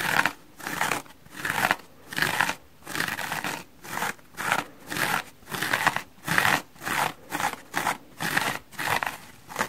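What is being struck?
Porous foam sponge.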